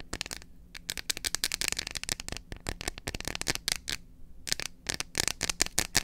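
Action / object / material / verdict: tap / dark chocolate bar / chocolate / none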